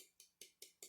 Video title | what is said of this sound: Practice DESCRIPTIVE VOCABULARY with Nouns & Five Senses | You can hear me bang on it. It's actually like a hard plastic.